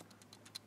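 Shaking a camcorder fitted with its top handle and mic receiver unit makes the loose audio setting switches on the side of the handle rattle. Five quick, faint, bright ticks are heard over a steady low hum. The rattle is a fault that carries into the audio, and a piece of tape would fix it.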